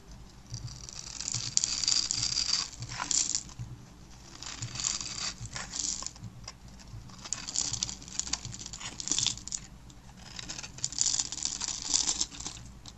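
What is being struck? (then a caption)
Soap bar scraped with a blade. A yellow-handled snap-off box cutter with its blade extended scrapes across the scored top of a solid green and white striped dry soap bar, sending crumbs flying. The sound is a bright, dry, crackling scrape that comes in repeated swells of rapid, tiny ticks, with almost no low end.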